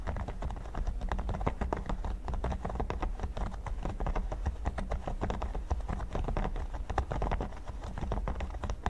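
Fingertips and nails tap and scratch the studs of a flat, solid red silicone pyramid mat. The result is a dense, continuous stream of quick, dull taps and soft scratchy clicks, heavy in the low end with little brightness. Each tap dies away almost instantly.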